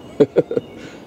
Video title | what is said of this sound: A Few Weeks Worth of Flea Market Finds | if you shake it around you can hear something rattling around inside there